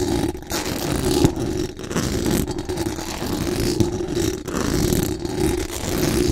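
Very long acrylic nails scratch quickly and aggressively across the hollow metal mesh dome grille of a large condenser microphone. The result is a dense, continuous, rasping scrape with strong low-mid energy and brief dips between strokes.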